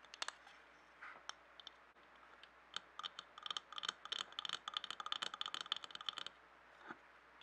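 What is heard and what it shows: A medium clear glass jar filled with colored paper scraps is held in both hands and tapped and scratched with fingertips and nails. Sparse, sharp, bright clicks give way to a dense, rapid run of clicking taps and scratches in the middle. The sound then fades back to a few soft touches.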